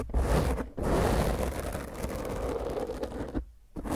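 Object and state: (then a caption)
Foam microphone windscreen being scratched. A black foam microphone windscreen is rubbed and scratched roughly by the fingertips and long nails of both hands. The result is a dense, continuous scratchy rustle, heavy in the low end with a muffled, boomy texture. It breaks off briefly near the start and again just before the end.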